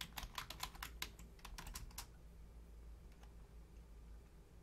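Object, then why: Plastic computer keyboard. Long painted nails and fingertips type on the low-profile keys of a full-size black plastic Logitech keyboard. A quick run of sharp, bright clicking taps fills the first two seconds, then it falls to a low steady hum with one faint tap later on.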